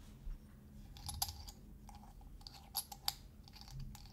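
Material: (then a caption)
Metal. Fingernails tap and scratch the domed metal screw lid of a small glass salt shaker while its glass body is held in the fingers. Sharp, bright metallic ticks and clicks ring briefly over soft scratching, with a quiet low rumble underneath.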